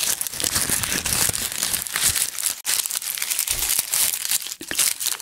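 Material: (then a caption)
Onion skin. Two whole, solid, round onions inside a red plastic mesh net bag are held up in both hands while fingers squeeze and rub the onion skins through the mesh. This produces a continuous, close, papery crinkling with bright, high-pitched rustle and brief crunchy bursts.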